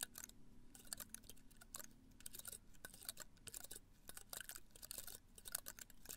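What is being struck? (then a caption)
Potted cactus spines. A small cactus in a red-brown pot is held in one hand while the other hand's fingernails scratch its spines close to the microphone. Quick, dry, crackly ticks and scrapes come in rapid, uneven bursts with a bright, crisp edge. A steady low rumble sits underneath.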